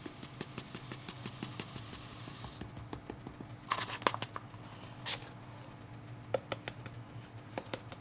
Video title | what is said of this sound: Weighting your Reborn doll limbs tutorial - Nikki Holland vlog #137 | you can actually hear it as well going into those toes which is good